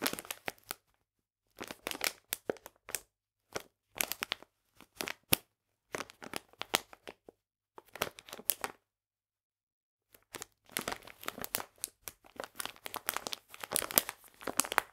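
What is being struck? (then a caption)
Plastic food bag filled with polenta. A medium plastic food bag full of polenta (cornmeal) is held in both hands while fingertips and painted nails squeeze and crinkle it. Short bursts of bright, crackly crinkling come and go with brief silent pauses, growing denser and more continuous toward the end.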